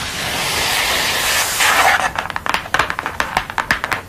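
Long nails scratch across a flat glossy paper print of a red-haired woman lying on a dark board, giving about two seconds of steady, crisp, hissy rustling. The scratching then gives way to a fast, uneven run of sharp, dry taps on the print and its edge.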